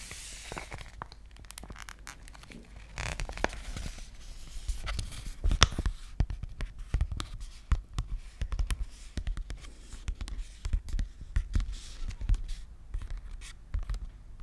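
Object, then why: Plastic-coated paper sheet mask sachet. A hand-sized, flat sealed cosmetic jelly sheet-mask packet of thin, flexible, printed plastic-coated paper is held close to the microphone and scratched and crinkled with long nails and fingertips. The result is a steady run of dry crinkling, scratching and sharp clicky taps, with bright crackle on top and soft low handling thumps underneath.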